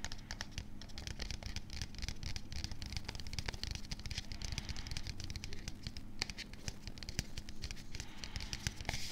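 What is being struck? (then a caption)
Plastic supplement tub with paper label. A medium, hollow plastic supplement tub with a printed label is held very close to the microphone while fingertips and nails scratch and tap rapidly on the label, possibly brushing the mic foam. Dense, quick dry clicks and scratchy rustles sit over a low, steady hum, with bright crisp transients that stop almost instantly.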